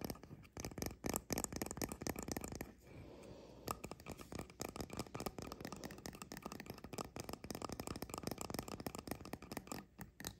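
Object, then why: Painted resin figurine. Fingertips and nails tap and scratch the red-yellow caps of a small painted resin mushroom fairy house standing on a counter. Rapid, dense, dry clicks and taps fill the clip, with a short smoother scratching stretch near the third second. The sound is bright, with a soft low rumble underneath.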